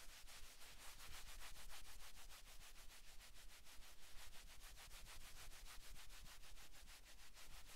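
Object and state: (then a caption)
Cotton sweatshirt being rubbed. Flat palms and fingers rub briskly across a navy cotton sweatshirt on a man's back. A fast, steady run of short, bright swishing fabric strokes plays over a soft low rumble, keeping an even quiet level throughout.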